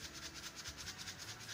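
A small jar of metallic scrapbooking embellishments meant for shaker cards is shaken. It makes a soft, steady, bright rattling and rubbing sound with rhythmic swells and no sharp hits.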